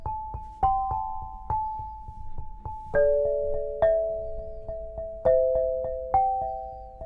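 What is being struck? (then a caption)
Granite lithophone bars. A black granite lithophone, eight solid slabs on a low frame, is struck with two soft-headed mallets, red and green balls on wooden sticks. A slow melody of clear, bell-like tones rings out, centred in the mid range. Each note sustains and decays as the next is struck over a steady faint hum.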